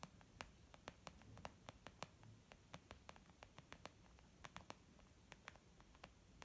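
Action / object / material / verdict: tap / leather zip makeup bag / leather / none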